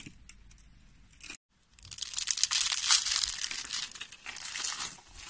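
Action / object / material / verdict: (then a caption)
scrape / soap flakes / soap / none. Bare fingers with short nails grab, crush and crumble handfuls from a pile of thin, pale yellow flakes of dry soap. After a soft rustle and a brief silence, a dense, bright, crisp crackling and crunching builds and continues with little low end.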